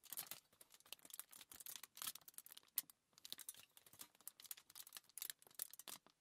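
A crumpled sheet of thin aluminium foil lies flat on a table while both hands with long nails tap and scratch it up close. Quiet, bright, crackly clicks and scratchy bursts come in quick irregular clusters with almost no low end, pausing briefly near the middle. Each crinkle stops sharply with no ring.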